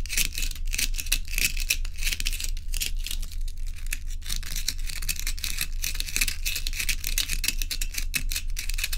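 Long nails tap and scratch a row of joined solid ice cubes held in both hands. Quick, crisp, bright clicks and scrapes come in a dense, uneven stream over a steady low hum.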